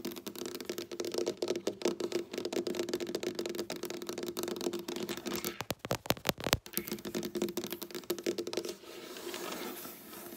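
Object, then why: Wooden tabletop. Long black-painted nails on both hands rapidly tap and click across a large, solid dark wooden tabletop, making a dense stream of short, dry, clicky knocks with a faint low hum beneath. Around the middle, a few sharper, louder clicks stand out. The tapping then gives way to a softer, steady scratching hiss for the final seconds.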